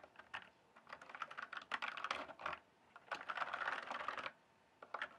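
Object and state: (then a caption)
Plastic mechanical keyboard typing. Fingertips type rapidly on a full-size RGB-backlit plastic mechanical computer keyboard, its hollow keys set on a solid base. Two long bursts of quick, pattering clicks, separated by a brief pause, end with a short flurry. Each keystroke is bright and hollow, with almost no ring or low end.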